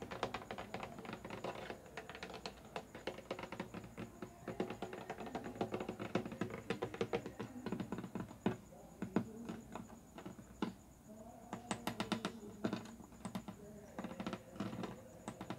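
Fingertips tap rapidly on the wooden neck and fretboard of an acoustic guitar with metal strings, held upright. Dense, short, dry clicks and taps continue throughout, over a soft low tonal hum of the body and strings.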